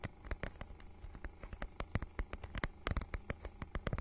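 Long nails scratch and tap the holographic faux-leather mermaid-scale cover of a small book held in both hands close to the microphone. The result is an irregular stream of short, sharp, crisp clicks over a soft scratching texture, with a low steady hum underneath.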